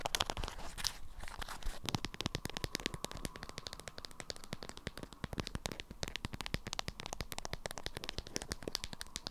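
Long acrylic nails scratch and tap an orange-print beeswax-coated fabric food wrap bundled around a small round item. The result is a dense stream of sharp, dry crinkling clicks and crackles, bright and close, with a faint steady mid-range hum beneath.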